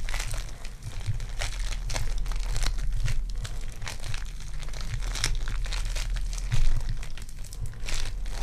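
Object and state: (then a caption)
Foam clay (polystyrene bead clay). A lump of lavender sticky foam clay (polystyrene bead clay), solid and soft, is stretched and torn into pieces, then squeezed by fingertips with long dark nails. Dense crinkling and crackling fills the clip in bright bursts over a steady low hum. One louder squeeze comes near the end.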